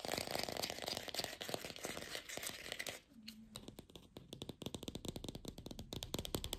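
Long pink fingernails fast-tap and scratch a glossy red artificial apple with a stem, likely hollow plastic. Dense, bright, clicky taps and scratches run for about three seconds, then drop to a brief quieter scratching lull before the rapid tapping returns.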